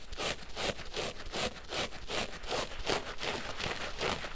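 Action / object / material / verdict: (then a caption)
scrape / synthetic foam sponge soaked in soap lather / synthetic foam / none. A large pink porous synthetic foam sponge, soaked and covered in soap lather, is squeezed and squished by both hands and fingertips over a basin of suds. The result is a steady run of wet, crackling squelches, each a bright bubbly burst of popping lather, repeating fairly regularly at a brisk pace.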